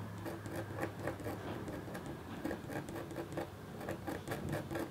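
A red-handled, metal-tipped stylus makes quick strokes across a flat, black-coated copper foil scratch art board. The result is a quiet, steady patter of short, dry scratches, with brief bright bursts over a soft low rumble.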